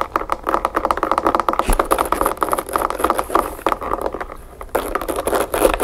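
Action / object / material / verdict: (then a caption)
tap / closed backgammon case, narrow edge / wood / none. Long nails rapidly tap and scratch along the narrow edge of a closed, map-print covered backgammon case with brass latches, held upright on a table. The quick, dry clicks and scrapes sit mostly in the midrange, ease off briefly just after the four-second mark, then pick back up.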